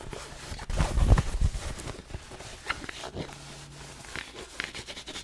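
Long nails scratch along the soft fabric crown and brim of a black cotton Nike baseball cap, making dry, textured scratching and rustling. A dense, louder cluster of strokes early on is followed by quieter, irregular scratches with some bright edges.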